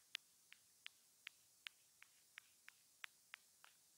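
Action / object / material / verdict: tap / small hollow plastic earphone remote tapped with a thin metal pick / plastic / none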